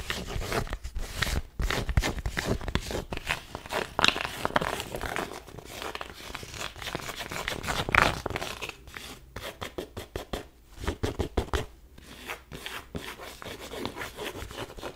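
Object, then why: Cotton twill baseball cap. Long nails scratch and rub the twill fabric of a black cotton twill baseball cap held in the hands. The result is a dense, continuous run of rough, crinkly scratching and rustling in quick bursts, with a few louder, brighter swipes standing out, then softer, sparser rubbing toward the end.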